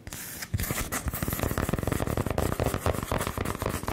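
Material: Wood.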